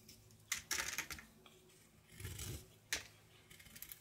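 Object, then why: Bar of soap cut with a kitchen knife. A red-patterned kitchen knife scrapes and carves a solid bar of soap, painted with a butterfly design over a light blue layer and held in the palm, as shavings fall. Crisp, bright scraping cuts come in short bursts, with a few sharp louder strokes and a softer, duller scrape in the middle, over a quiet background.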